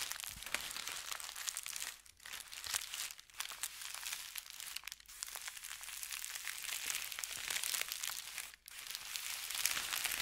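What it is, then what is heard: Thin paper sheet. A folded thin white paper sheet on a felt mat is scratched and rubbed with fingertips and nails, making a dense, bright crinkling and scratching sound. The texture runs almost continuously, with a few brief quiet gaps near 2, 3.3, 5 and 8.6 seconds.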